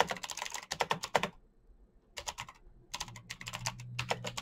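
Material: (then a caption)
Plastic. Fingertips type rapidly on a black plastic mechanical keyboard, producing dense bursts of sharp, bright key clicks. The bursts come in three runs separated by short pauses, with a faint low hum underneath.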